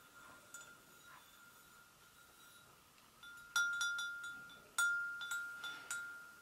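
An empty, medium-sized, hollow white porcelain gravy boat is tapped on its rim with the long acrylic nails of both hands. After a faint lingering ring, seven clear taps each give a bright, bell-like ping around 1.4 kHz with high overtones, ringing out and decaying between strikes.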